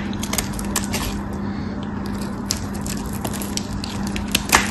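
A craft knife shaves the crosshatched surface of a tan solid bar of soap into cubes. A steady, dry scraping hiss carries many small, crisp clicks and cracks as the cubes break away, over a constant low hum. The sharpest snap comes near the end.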